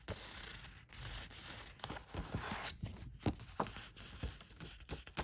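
A single thin red origami paper sheet from Daiso Japan, about 15 cm square, flat and solid with a diamond emboss pattern, is held in both hands and handled and rubbed with the fingertips. Soft, steady papery rustling and scratchy rubbing carry across the clip, broken by short, sharp crinkles and snaps. The result is a crisp, close, dry paper texture with quick decays.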